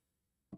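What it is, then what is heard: Plastic water bottle filled with water. A red plastic water bottle with a lid, filled with water up to a mark, is tapped once. It gives a short, dull, low knock centred around 190 Hz that dies away almost immediately.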